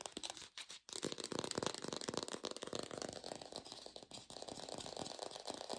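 An artificial plastic green apple is tapped rapidly with fast, continuous taps and recorded lo-fi without a microphone. The taps are dry, clicky, and slightly rattly, with a midrange body, bright upper edges, and almost no low end. A brief gap occurs near the start before the dense tapping continues.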